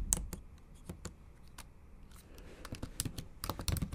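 Long acrylic nails tap typing strokes on a MacBook Pro keyboard with black plastic keys set in an aluminum body. Nine short, sharp, bright clicks are heard over a steady low rumble, with the taps growing denser and louder toward the end.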